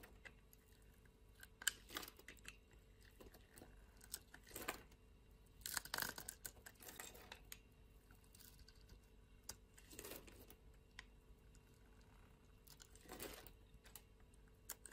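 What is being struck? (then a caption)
Solid soap bar. A solid green bar of dry soap is held in the hand while a blade shaves and scrapes its surface flat. Quiet, dry, crunchy scraping bursts with a bright, crisp edge come in irregular strokes, with short pauses between them.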